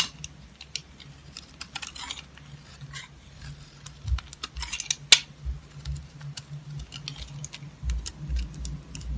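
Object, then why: Soap bar cut with a knife blade. A utility knife blade shaves and carves strips from a solid black soap bar, with the shavings piling up below. Dry, bright scraping and crackling bursts come in short irregular strokes, with one sharper click about halfway through. A steady low hum sits underneath the whole clip.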